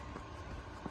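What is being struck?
Nothing is struck.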